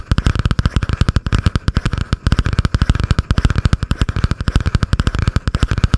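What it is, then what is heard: Spiral notebook with cardboard cover. A butterfly-print spiral notebook with a cardboard cover, held up, is tapped and scratched fast with long painted nails. About 46 quick, dull, bass-heavy taps come in a steady, rapid stream, each dying almost at once, with a thin scratchy rasp between them.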